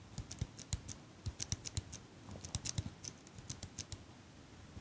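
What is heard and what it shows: Fingers with long nails repeatedly squeeze and release the handles of a small metal eyelash curler held close by. About twenty quiet, sharp clicks come in an uneven run over a faint hiss, each a bright metallic tick with a soft low thump that dies away almost instantly.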